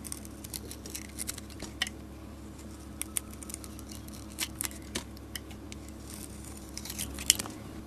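A solid soap bar with a red glitter and silver coating over a green core is held in a hand with long nails and carved with a utility blade. Soft, crisp scraping is broken by sharp, bright crunchy cuts and snaps, heard over a low, steady hum.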